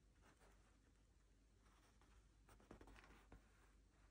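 Fingers in fingerless gloves rub and scratch along the felt brim and crown of a black hand-made wool felt top hat with a grosgrain band, hollow and empty, while turning it. A quiet, steady dry rustle runs throughout, with three short, sharper scratches standing out near the end.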